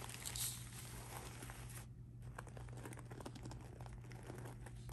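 Fingertips with blue-painted nails scratch and rub across a medium-sized, soft pink handbag of sparkly rhinestone and metal mesh lying flat. The result is a quiet, dense crinkling rasp of tiny metallic ticks over a steady low hum, briefly softening near the two-second mark before the scratching picks up again.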